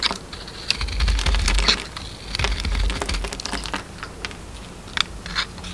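A solid red DURU soap bar with a pink inside, held in the hand, is carved and scraped with a metal utility knife blade. Quick, dry scraping and crisp cutting clicks repeat irregularly over a low rumble, with bright high edges on each stroke.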